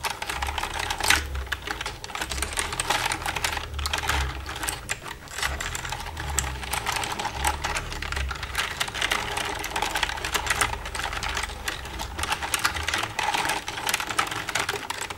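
Long red nails tap rapidly and continuously on the keys of a black plastic computer keyboard. They make a dense stream of bright, crisp plastic clicks that die away quickly, over a steady low rumble.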